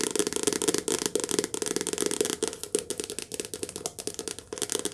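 A medium softcover paperback book with a glossy card cover, a solid paper block, is held upright in both hands and tapped fast with long painted nails. About 21 quick, dry, rattling taps run together, each dying almost instantly, with a hollow tone near 440 Hz under bright, crisp clicks.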